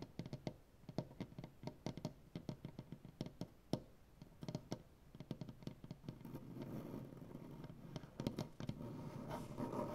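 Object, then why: Wooden butcher-block tabletop. Fingertips and painted nails of both hands tap on a solid light wood butcher-block tabletop, producing many quick, dry, low taps in uneven bursts. Toward the end, the tapping thins out and gives way to a steadier, rougher scratching texture across the wood.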